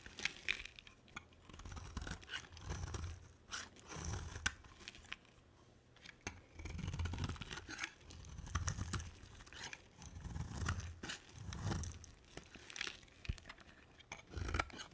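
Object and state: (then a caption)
Bar soap being carved. A box cutter blade carves a palm-sized, solid white bar of soap, making dry, crunchy scraping strokes that swell and fade in repeated low, muffled bursts. Sharp, bright clicks and snaps of the blade cutting through the soap punctuate the steady shaving sound throughout.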